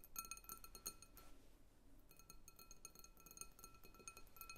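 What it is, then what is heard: Glass bowl of water beads, tapped with nails. Long acrylic nails tap and click on the walls and rim of a medium clear glass bowl full of water-gel beads, resting on a wooden table. Quick, bright clicks ring with a glassy tone near 1.3 kHz and high shimmering overtones that fade almost at once. The taps come in fast clusters, with a brief quieter lull in the middle before the clicking picks up again.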